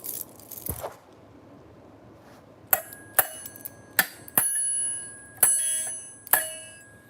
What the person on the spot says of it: that's right it's a dinner bell